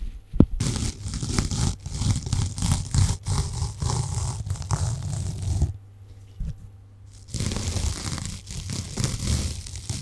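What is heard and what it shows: A small, solid, light-yellow foam sponge block is held in both hands close to the microphone and scratched and squeezed with long painted nails. This makes dense, crackly tearing and crinkling scrapes with a heavy low-end thump and bright grit on top. The sound stops briefly near the middle, with only one soft tap, then the scratching resumes to the end.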